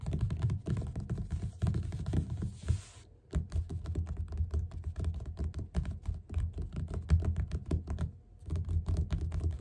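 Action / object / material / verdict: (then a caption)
tap / paperback book cover / paper / none. Both hands tap rapidly with their fingertips on the cover of a yellow paperback book lying flat and solid. The result is a fast, dense run of soft, dull, low thuds with very short decay, with brief pauses at about 3 seconds and 8 seconds.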